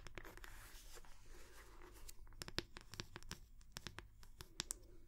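Long nails scratch and tap the wooden back of a round wooden hair brush head held up close to the mic. A dense, bright scratching texture in the first two seconds gives way to a string of short, sharp, dry taps with almost no ring, over a faint low hum.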